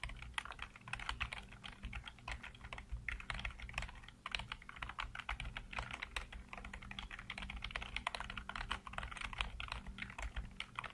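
Fingertips type rapidly on a black plastic backlit computer keyboard, producing a dense, continuous stream of short, bright key clicks and clacks that stop almost instantly. A steady low hum runs underneath throughout.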